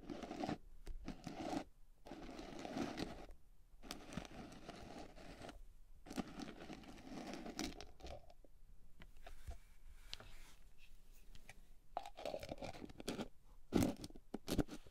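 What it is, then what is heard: Plastic cosmetic tub. Long painted nails tap and scratch the blue plastic screw lid and sides of a medium, hollow white plastic cream tub of unknown fullness, then lift and tilt it. The result is dense, dry scratching and crinkly tapping with a low-mid body and short, quickly fading bursts, with a quieter, sparser stretch midway before louder taps return.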